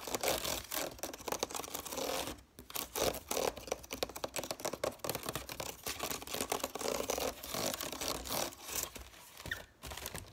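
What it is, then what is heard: Woven wicker basket. Fingertips and nails rapidly tap and scratch across the woven strands of a large, hollow woven wicker (willow/rattan) basket held close to the camera. The result is a dense, continuous stream of dry, crackly scratches and quick taps with a bright, rustling texture, pausing briefly twice.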